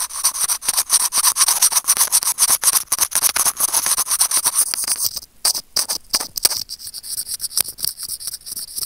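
Curved steel tweezers scratch rapidly across a small, hollow white plastic earphone mic remote, producing dozens of quick, bright, dry scraping strokes with almost no low end. About halfway through there is a brief pause, then the strokes continue, slightly sparser and softer.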